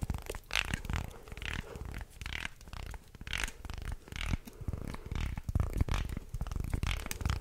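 A wooden segmented, slotted shark toy is flexed into an arc and twisted close to the mic while fingernails scrape across the edges of its segments. The result is a dense, continuous stream of dry wooden clicks, rattles and grinding scrapes with a heavy low-end thump, in bursts that swell and fade throughout.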